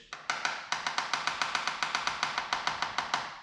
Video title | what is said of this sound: How to Map Delaminations - Hobie 16 | on the lower side of the hole where it's good we have a nice high pitched tapping sound